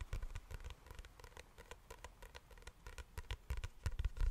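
A small spiral-bound notepad with a dark green cardboard cover is held in both hands while fingertips and medium nails tap and scratch the cover. The sound is a quiet, irregular patter of soft, dull taps mixed with brief, dry scratches, each dying away almost at once.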